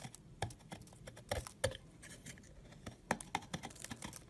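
A solid yellow egg-shaped bar of soap is held in the fingers while thin shavings are cut off it with a utility knife blade. Quiet scraping and cutting is heard as a string of short, crisp clicks and scratchy strokes that die away at once.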